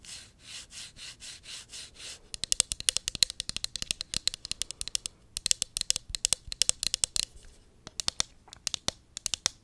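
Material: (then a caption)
Plastic. Long nails scratch and tap the sides of a tall, hollow pink cosmetic pump bottle, likely plastic, held upright. The first two seconds are seven soft, rhythmic scratching strokes, followed by a fast, uneven run of sharp, bright, clicky taps with almost no ring and little low end.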